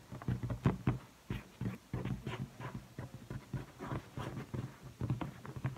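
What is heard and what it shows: A blue inflated latex balloon, hollow and air-filled and held by the neck, is tapped and rubbed by fingertips and long painted nails on its taut surface. A quick, uneven series of short, dull, low thumps sounds, each dying away almost at once, with soft rubbing and light nail ticks in between.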